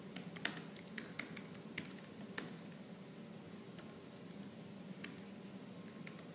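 Fingertips and nails type fast on a laptop keyboard with black plastic keys. Sharp, bright clicks come in uneven bursts, louder early on and then softer, over a steady low hum.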